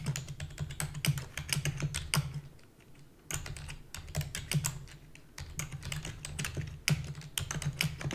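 Fingertips with long natural nails rapidly press the keys of a black full-size plastic computer keyboard with hollow key housing. The result is a fast stream of sharp, bright clicks with very short ring, over a steady low hum. There is a brief pause near the middle before the typing resumes.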